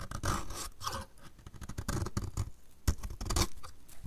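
A utility knife blade scrapes a solid, dry blue soap bar held in the hand, peeling off curls. It makes a run of short, dry, crackly scraping strokes with a low, dull body and bright gritty edges, each stopping almost at once.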